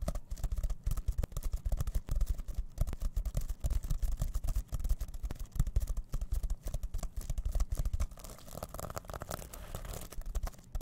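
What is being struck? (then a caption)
Plastic sequin pouch. Fingertips scratch and rub the plastic sequins on a rainbow reversible sequin pouch held in both hands. The result is a dense run of quick, scratchy clicks and rustles with a heavy low thump under them. Near the end it eases into a softer, steadier rubbing.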